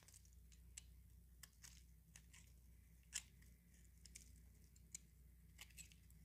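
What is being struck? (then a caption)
Bar of soap. A utility knife blade scrapes and shaves flakes and curls off the face of a small, solid, pale-yellow dry soap bar held in the palm. Quiet, dry, crunchy scraping comes through as short, bright crackles and clicks over a steady low hum, with the sharpest crunch about halfway through.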